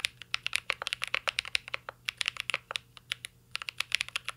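A full-size CYBERBOARD R3 mechanical keyboard with an aluminum case, plastic keycaps and Holy Panda switches is typed on with the fingertips of both hands. The result is a steady run of about 30 short, bright, crisp key clacks with almost no ring and a faint low hum underneath.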